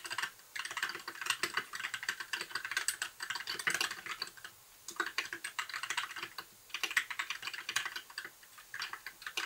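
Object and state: Plastic mechanical keyboard.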